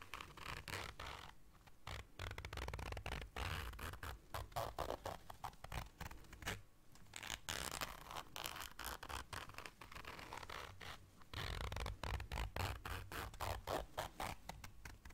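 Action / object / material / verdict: scrape / small fabric zipper case / fabric / none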